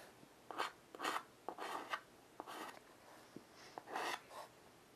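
A piece of chalk held in the fingertips draws a cat outline on a flat, wooden-framed chalkboard. Short and longer scratchy strokes rasp across the board with a dry, bright texture. Small clicks of the chalk tip touching the surface are heard between strokes.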